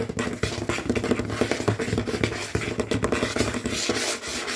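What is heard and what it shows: Fingernails and fingertips tap and scratch fast and hard on a large, solid, dark glossy tabletop that appears to be wood or wood veneer. Dense, rapid knocks with a low, hollow thud blend into bright, rasping scratches, each tap dying away almost instantly. The busy, rhythmic clatter runs without pause for the whole clip.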